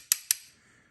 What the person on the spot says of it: tap it to see if it's metal or plastic